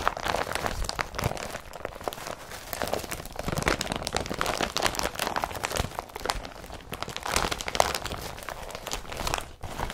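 An empty blue IKEA BRATTBY carrier bag of woven polypropylene is rubbed and scratched by a hand while bundled, then lifted and crumpled. It makes a steady, dense stream of dry crinkling and scratchy crackles with many sharp, bright little snaps and no ring.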